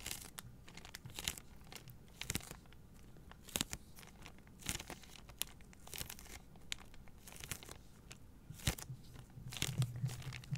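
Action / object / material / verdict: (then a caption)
scrape / paper towel rolls in thin plastic film / plastic film / none. Long painted nails scratch and squeeze the crinkly thin plastic film wrapping a soft pack of three white, hollow-cored paper towel rolls held upright in both hands. Sharp, bright crackles and scratchy crinkles burst out irregularly over a steady low rumble, each snapping off almost instantly.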